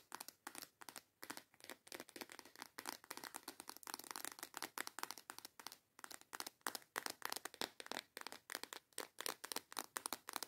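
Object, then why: Small plastic box of false nail tips. Long yellow acrylic nails rapidly tap and scratch a small transparent plastic box with snap clasps that is full of false nail tips. The clicks are dry, crisp and bright, with no low end and almost no ring, coming in a dense, fast, uneven rhythm with brief scratchy rustles between them.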